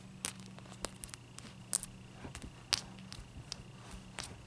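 A clear solid ice cube is lifted and set on a towel, then tapped with long dark-painted nails. About eleven short, bright clicking taps come at uneven intervals over a steady low hum and faint crackle, each dying away almost instantly.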